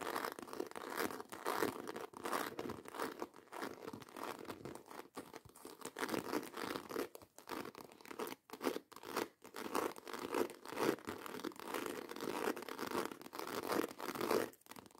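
Long acrylic nails rapidly scratch and tap the bottom edge of a black croc-embossed faux leather handbag held upright. The result is a dense, continuous stream of dry, crinkly scraping and quick clicks, concentrated in the mids with almost no low end. Brief pauses break up the sound, and each scratch or tap dies away almost instantly.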